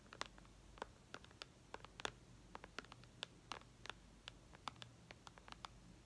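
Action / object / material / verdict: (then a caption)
tap / tablet with glass touchscreen / glass / none. Long red nails tap on the glass touchscreen of a white iPad lying flat. About 25 quick, light, clicky taps come at an uneven pace, each dying away at once, over a faint low hum.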